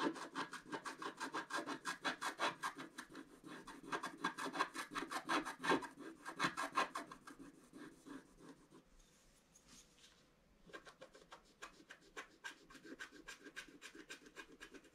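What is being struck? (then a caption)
Wax-coated scratch art paper scratched with a wooden stylus. A thin wooden stylus scratches a flat black sheet of wax-coated scratch art paper in a book lying on a table, while the other hand holds the page flat. Quick, dry scratching strokes repeat at a steady rhythm, with bright rasping texture centred around 1 kHz. The strokes ease off into a near-silent pause with a faint high hiss around the tenth second, then resume at a lighter level.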